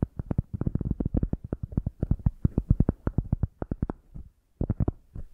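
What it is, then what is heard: Cork coaster. A round, thick, solid cork coaster is held upright in both hands while long nails scratch and tap its textured cork surface. The result is a rapid run of dozens of dull, low, muffled taps with almost no ring, mixed with faint scratching. The tapping pauses briefly near the four-second mark, then resumes.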